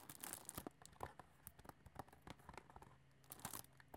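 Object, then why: Cardboard candy box with cellophane wrap. Long nails tap and scratch a flat cardboard chocolate box, shrink-wrapped in cellophane and full, as it is turned to show its sides. Quick, crisp taps mix with crinkly scratching and bright crackle from the wrap, in bursts with quieter rustling between them.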